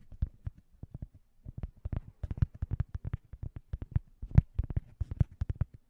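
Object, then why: Cork coaster. A round, thin, solid cork coaster, held upright at the side of the microphone, is tapped and scratched by fingertips. About 27 quick, soft, dull taps come in an uneven run, deep and muffled with almost no ring, and a few carry a faint brighter scratchy edge.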